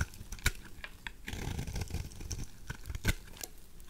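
A knife blade scrapes shavings off a white, solid, oval bar of dry soap held in the hand. The result is a soft, crumbly scraping with dull low rustle and brief bright crackles, punctuated by two sharper snapping clicks.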